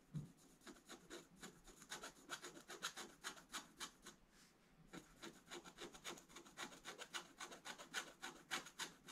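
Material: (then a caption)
Coated paper. A pointed wooden stylus scratches a black-coated scratch-art paper page in a bound book with repeated short strokes. About 34 dry, bright, raspy scrapes come in a quick, uneven rhythm, with a brief quieter pause near the middle.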